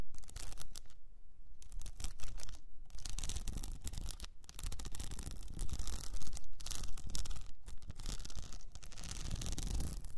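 Long painted nails scratch a tall blue cylinder wrapped in a plastic rhinestone sheet, standing upright on fur. The scratching is dense and continuous for about ten seconds, with quick raspy strokes that run from low to high and brief near-silent gaps between bursts.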